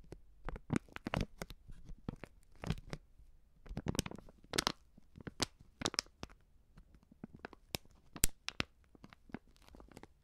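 A hand-sized white plastic-film stand-up pouch of Coop Prix Streuwürze powdered seasoning, filled with powder, is held in one hand and squeezed and crinkled with the fingertips and long painted nails of the other. Quiet, irregular bursts of dry, crackly crinkling with bright edges come and go over a soft low rumble, each snap dying away almost instantly.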